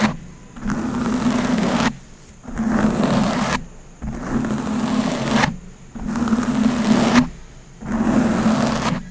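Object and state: Plastic water bottle being crinkled.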